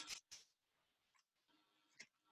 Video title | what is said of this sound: Pickling Red Onions With Caitlin | the seeds are still in there